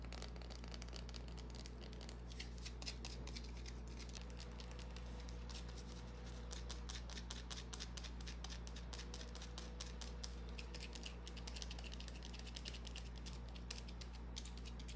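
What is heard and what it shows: A small, solid white bar of soap held in the hands is scratched and tapped with long painted nails. Rapid, crisp, bright scratching clicks patter quietly over a steady low hum throughout.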